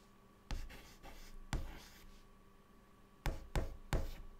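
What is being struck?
Chalk stick on a chalkboard.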